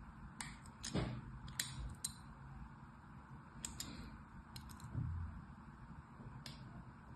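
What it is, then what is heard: Bar soap being scraped. A thin metal carving tool, held by a hand with long white nails, scratches and scores parallel lines into the surface of a solid, rectangular, palm-sized red bar of soap held in one hand. A series of short, bright, crisp scraping ticks comes in scattered bursts over a quiet, low rumbling background, each dying away almost at once.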